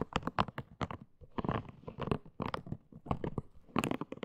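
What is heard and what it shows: Long green nails scratch and tap the body and soft spikes of a pink, hand-sized, hollow silicone hair-washing scalp brush. The result is a quick series of dry, crunchy scratches and soft taps with a dull low thump and almost no ring. Short bright bursts are separated by brief pauses.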